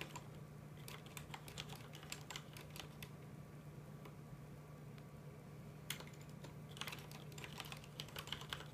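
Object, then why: Plastic mechanical computer keyboard. Both hands type with their fingertips on a full-size black plastic mechanical computer keyboard with red keycaps, tapping the keys. Quick, bright clicks come in irregular bursts over a steady low hum, with a short pause in the middle before the typing picks up again.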